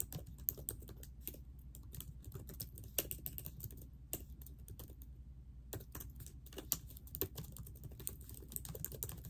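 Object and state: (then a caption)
Plastic laptop keyboard. Long nails and fingertips type steadily on the plastic keys of a laptop keyboard set in a silver laptop body, with rings on the fingers. Quick, bright clicks and taps come in a dense run over a constant low hum, with a brief lull midway before the typing picks back up.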